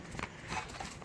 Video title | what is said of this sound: Acura MDX 2007 Rattling Noise Solution | every time I tap on it, there's this little noise, this rattling noise